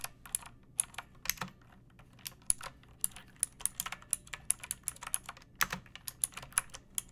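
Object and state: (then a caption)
Plastic mechanical keyboard. Long painted fingernails type steadily on a pink plastic mechanical keyboard with round keycaps and a hollow case, resting on a wooden surface. Each keystroke lands as a quick, bright clack with almost no ring, in an uneven run of about thirty presses.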